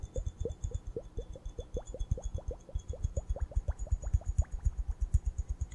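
Long painted nails tap and scratch the bulbs of a small hollow glass hourglass, partly filled with purple glitter sand, held up in both hands and tilted and turned. The result is a quick, uneven run of short, dull clicks with little ring, some carrying a brief rising chirp, over faint high shimmering tones.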